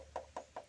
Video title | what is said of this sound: TIPS AMAN CARA MEMILIH MOBIL BEKAS.TELITI SEBELUM MEMBELI. dijual mobil bekas berkualitas. | diketok ini bunyinya tidak bisa nyaring seperti ini Bosku ya atau sudah tebal